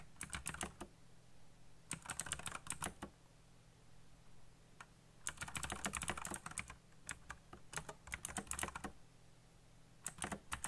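Fingertips type quickly on a black backlit mechanical computer keyboard with plastic keycaps, producing sharp, clicky key presses with a bright edge. The typing comes in fast bursts separated by short pauses, over a faint, steady low hum.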